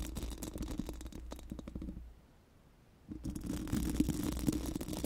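Pink silicone spoolie wands, one in each hand, scratch and rub across a round hollow metal mesh microphone grille, making a dense, rapid scratchy rustle with a low rumbling body. The scratching drops to near silence for about a second in the middle, then resumes slightly louder with brief brighter ticks.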